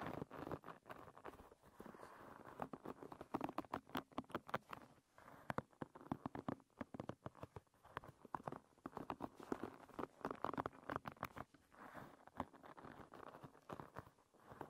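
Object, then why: Wooden pin bristles of a hairbrush. Fingertips and nails brush and pat across the tips of a hairbrush's dense wooden pin bristles. The result is a quiet, continuous patter of rapid, short, dry clicks and scratchy rustles, mostly in the low-mid range, with brief pauses between bursts.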